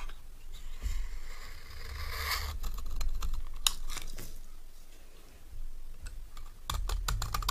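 A solid, rectangular bar of dry cream soap, held in the hand, is scraped with a metal knife blade. Bright, dry rasping strokes are interrupted by sharp, crisp clicks and ticks, over a low rumble.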